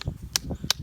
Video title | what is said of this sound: How to make maple syrup 4k video | you're going to tap till you hear a real dull thud. You'll hear it coming.